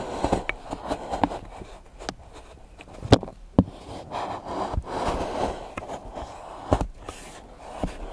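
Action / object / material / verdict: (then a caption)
knock / milk chocolate shavings chopped with a steel knife on a board / chocolate / none. A large steel knife chops a pile of solid milk chocolate curls into small pieces on a board, with the other hand resting on the blade. Irregular sharp knocks of the blade on the board mix with soft crumbly crunching and scraping of the shavings.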